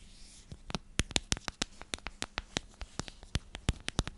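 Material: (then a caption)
Plastic. A clear plastic storage container with a purple lid and purple contents is scratched and tapped with long nails. The result is a quick run of sharp, bright clicks and taps that die away almost instantly, spaced unevenly over a faint low hum.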